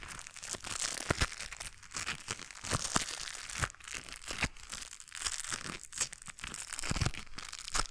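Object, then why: Rubber-coated knit work gloves. White knit work gloves with a blue textured rubber coating, worn on both hands, rub and crinkle against each other close to the microphone without touching it. The result is a continuous bright, papery crinkling and scratching with many short crackling ticks and a few low thumps.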